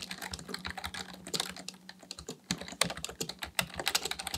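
Fingertips of both hands type continuously on a black plastic full-size membrane keyboard (Dell KB1421) with a hollow housing resting on a desk, pressing and tapping the keys. A rapid, uneven stream of bright, clicky, dry key taps fades almost instantly, with a few louder key strikes standing out. A faint steady low hum sits underneath.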